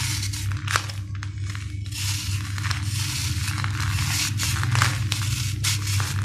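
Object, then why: Sand-cement ball scraped with a steel blade. A steel knife scrapes powder off the surface of a hand-sized solid sand-cement ball in repeated gritty shaving strokes. Each pass gives a dry, bright, crumbly rasp with short crackles, over a steady low hum that runs throughout the clip.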